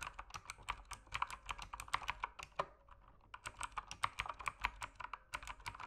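Rapid fingertip typing on an RGB mechanical keyboard with plastic keycaps produces a steady stream of sharp, clacky keystrokes with bright, short clicks and very little low end. The typing pauses briefly near the middle before resuming at the same quick pace.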